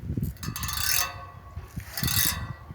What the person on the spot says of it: se a gente raspar tem um som e se a gente bater tem outro som sons diferentes na mesma grade